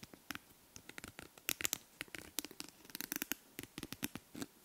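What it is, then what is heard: Wooden comb. Long manicured nails run and scratch across the teeth of a small, light, solid wooden comb held close to the mic. The result is a quick, uneven series of short, dry, zipper-like rasps and clicks, bright and high with almost no low end, each dying away at once.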